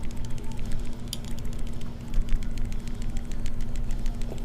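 A Samsung Galaxy Note 9 smartphone is shaken, and its loose camera module rattles inside the phone as a rapid stream of faint, bright clicks over a steady low rumble and hum. The rattle is a fault that should not be there.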